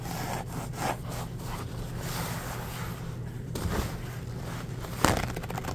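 Fingertips rub and scratch a full roll of embossed white paper towels with a cardboard core, making soft, papery scraping strokes. The brushy rustles sit over a steady low hum, and one sharper, brighter scratch stands out near the end.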